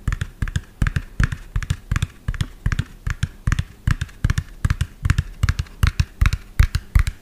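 Fingernails tap quickly and lightly scratch the cab of a medium lime-green hollow plastic toy dump truck with an empty tipper bed. The result is a fast, uneven run of short, dry taps, each with a hollow low thud and a bright clicky edge that dies away almost at once.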